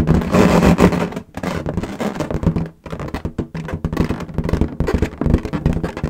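An inflated, hollow, air-filled lilac latex balloon is held in both hands while long nails tap quickly on its surface. The result is a fast, irregular stream of short, dull, low thumps with a faint resonant hum around 184 Hz, broken by a couple of brief pauses.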